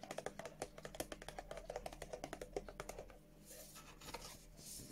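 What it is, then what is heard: Cardboard box tapped with nails. A small, hollow, white and blue printed cardboard Revolution Beauty skincare box is held in the hand and tapped and scratched with long French-tip nails. Quick, crisp, hollow taps with a low-mid knock come in a rapid run for about three seconds. Softer scratching and breathy, hissy sounds follow.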